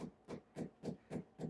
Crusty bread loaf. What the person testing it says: you can kind of hear it sounds hollow